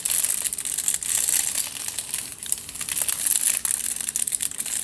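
Fingertips and nails scratch and squeeze the crumpled aluminium foil wrapped around a long tube held diagonally. The result is a dense, bright crinkling and crackling with almost no low end, running steadily with brief dips in loudness.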